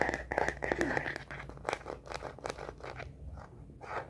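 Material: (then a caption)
Plastic. Long nails rapidly tap and scratch the back of a star-print plastic case on a smartphone held upright. Quick, irregular clicky taps mix with crinkly scratching, with a steady mid-high tone early on. The sound fades to softer, sparser scratches toward the end.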